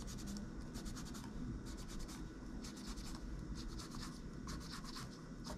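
A gloved hand scratches and rubs a cotton swab over the plastic keys of a laptop keyboard while cleaning it, moving toward the palm rest at the end. Bright, dry scratching and brushing sounds come in repeated bursts over a steady low hum, and the level stays soft and even throughout.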